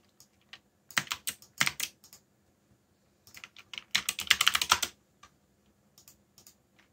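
Fingertips type slowly on a backlit mechanical keyboard with plastic keycaps, making bright, clicky keystrokes. The strokes come in short bursts with pauses between them, and each click dies away almost instantly.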